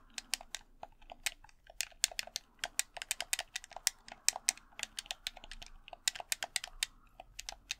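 Fingertips click the buttons and tap the shell of a red, hollow plastic game controller. A quick, uneven run of about thirty-four sharp, dry clicks and taps follows. Each is bright and high with almost no low end and dies away instantly.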